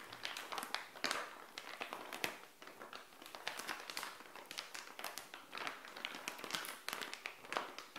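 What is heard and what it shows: Long nails tap and scratch a small, flat, printed plastic SHEIN bikini pouch lying on a tile floor. The result is a quiet, steady run of quick, dry taps mixed with bright crinkling and scratchy rasps. There is almost no low end, and each tap dies away almost immediately.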